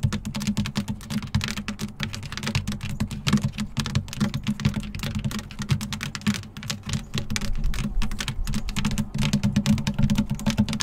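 Long acrylic nails tap and scratch with both hands on the black, hexagon-textured, hollow-backed plastic/rubber running board step of a Jeep. The result is a dense, steady stream of quick, sharp clicks over a hollow low thump centered near 215 Hz. Each tap dies away in about a fifth of a second, with faint scraping between the taps.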